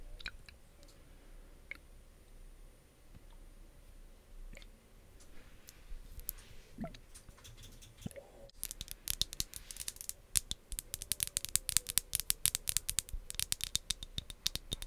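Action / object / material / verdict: tap / plastic bottle of liquid / plastic / none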